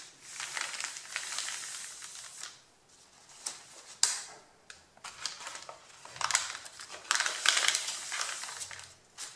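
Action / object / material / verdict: scrape / stack of printer paper sheets / paper / none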